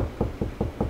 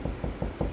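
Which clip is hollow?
The first.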